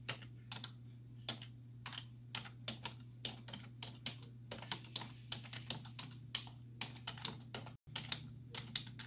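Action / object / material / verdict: tap / plastic computer keyboard / plastic / none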